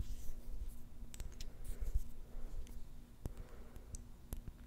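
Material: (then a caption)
Glass. Long nails tap quickly on a small, round, clear glass jar with a silver metal lid, filled with pink plastic beads. The taps make sharp, bright clicks that die away almost at once. A steady low hum runs underneath throughout.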